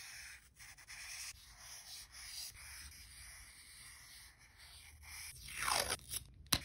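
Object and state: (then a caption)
Marker scratching on a paper sketchbook page. A felt-tip alcohol marker tip is stroked across thick white paper in a spiral-bound sketchbook lying on a cork surface, drawing red and purple squiggles while the other hand, with long manicured nails, holds the page still. A soft, bright scratching rub runs steadily through the clip. It builds to a louder scrape near the end and finishes with a sharp tap.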